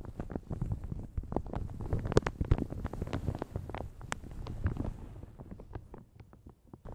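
Long red nails scratch and crinkle a light blue plastic shower cap stretched over a large hollow microphone. The result is a dense, irregular run of soft crackles and quick ticks with a boomy low-end body. A few sharper snaps stand out before the texture thins toward the end.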